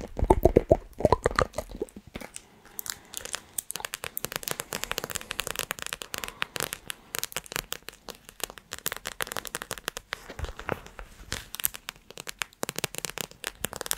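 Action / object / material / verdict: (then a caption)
tap / small plastic pouch filled with gel beads / plastic / none. Long nails press, squeeze and tap a small squishy plastic orbeez pouch filled with gel beads, with yellow glitter and blue accents, held near the microphone. A rapid, uneven stream of sticky crunching and crackling snaps runs throughout, with heavier, fuller squeezes in the first two seconds.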